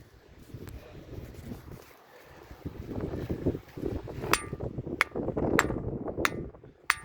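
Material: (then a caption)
Stone. The Ringing Stone, a boulder with Neolithic cup marks on Tiree, is struck five times after a stretch of wind and rustling. Each strike gives a short, bright, metallic ringing tone near 1.2 kHz, the boulder's normal ring.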